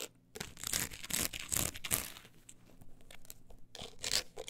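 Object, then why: Book with embossed woven-texture cover. Long acrylic nails scratch across the woven-look embossed cover of a closed, solid book as it is handled and tilted. The result is a series of dry, raspy scratching strokes, bright and papery, rising and falling in quick irregular bursts with a brief lull in the middle.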